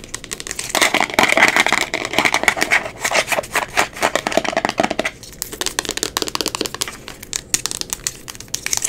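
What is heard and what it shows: A small, round amber glass cosmetic jar, closed and likely full, with a black plastic screw lid labeled "Miracle Melt," is tapped and scratched quickly with long pink acrylic nails on its lid and sides. Dense, rapid clicks and scratchy rasps come through bright and crisp. They are loudest and most continuous in the first half, then thin out into sparser, quieter taps.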